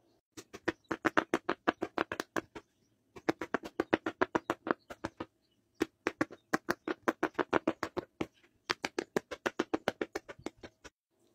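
Fingertips press the hollow bubbles of a large, rainbow-striped soft silicone pop-it fidget sheet lying flat, popping them row by row. Four quick runs of sharp, hollow little pops, each with a short dry snap and almost no ring, are separated by brief pauses.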